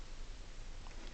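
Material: Nothing is struck.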